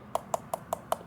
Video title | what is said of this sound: DAP collection overview 2026 (Hifiman, Cowon, Walkman, Cayin, Lotoo, Hiby, Moondrop, Onix) | Can clearly tell that thing's aluminum.